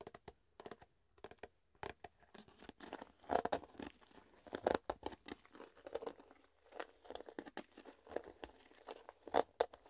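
Fingertips tap an empty, hollow clear plastic food container held up in the air and flex its thin walls. The result is a quiet, irregular stream of sharp taps and crinkly, crackling flexes, with brighter louder bursts scattered throughout.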